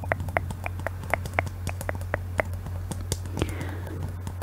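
A clear hollow glass Christmas bauble with a glittery base and "Paris" lettering, held in both hands, is tapped with long nails. The result is a quick series of short, bright clicking taps with a brief glassy ring, heard over a steady low hum.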